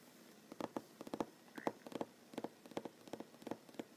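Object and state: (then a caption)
Wooden tabletop, solid. Fingernails of one hand tap quickly on a large solid wooden tabletop. About 16 short, dry clicks with a mid-pitched knock sound in uneven bursts over a quiet hiss, each dying away almost at once.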